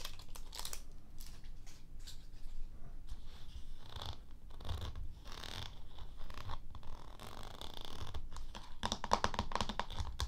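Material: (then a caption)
Plastic. A small round plastic Cra-Z-Sand tub with a printed lid, likely full of kinetic sand and sitting on a plastic tray, is tapped and scratched with long fingernails on its lid and sides. The result is a steady stream of dry, crunchy scratches and short clicking taps with no ring, and a quicker burst of bright tapping toward the end.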